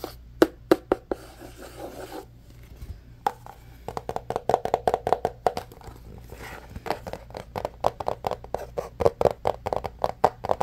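Fingertips and nails tap, rub and scratch the surface of a small, rigid, hollow and empty white cardboard phone box with a lid. Quick dry taps with a short hollow midrange knock alternate with soft scratchy rubbing, with brief quieter stretches of rubbing between faster bursts of tapping.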